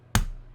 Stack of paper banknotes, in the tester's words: sounds like paper